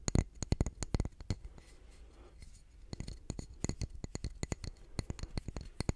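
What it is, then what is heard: Solid concrete block. A solid grey concrete calendar block with engraved month names is held in the hand and tapped and scratched with fingernails. Quick bursts of sharp, dry clicking taps with almost no ring come in clusters at the start and end, around a quieter middle stretch of soft, scratchy rubbing.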